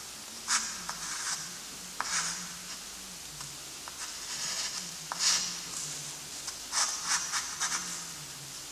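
A chunky graphite stick, held in a gloved hand, scratches and rubs across a flat sheet of lined gray drawing paper lying on a surface while writing gothic letters. Bright, dry scraping strokes come in short bursts separated by quieter, softer rubbing. A faint low hum runs steadily underneath.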